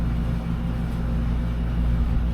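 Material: Nothing is struck.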